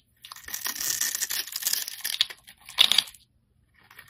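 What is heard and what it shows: A metal craft blade shaves and scrapes crumbly layers off a solid, palm-sized, pink, opaque soap bar with a pre-scored top, held in the hand. A dry, bright, crackling scrape runs for about two seconds. After a short pause comes one louder crunchy cut, then near-silence with a few faint scratches at the end.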